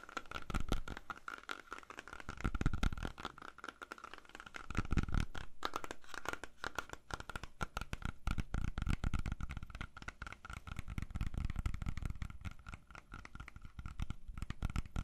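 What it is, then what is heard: Apple tapped and scratched. A whole, solid red apple is held in both hands and tapped and scratched with fingernails. The result is a dense run of quick, dull taps and dry scratching with soft low thuds underneath and a faint steady hum in the background. The loudness swells in brief waves throughout.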